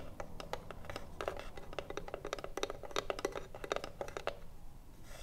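Long nails scratch and tap the printed front panel of a hollow wooden cigarillo box standing upright. A rapid run of short, dry clicks and scrapes gives each tap a brief hollow woody tone around 400 Hz with a bright edge and almost no ring. A faint low rumble sits underneath throughout.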